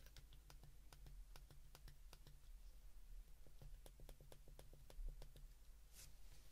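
Thumbs and fingertips repeatedly press the rubbery plastic number keys of a small white plastic flip phone held open in both hands. The result is a quick run of light, sharp button clicks over a steady low hum.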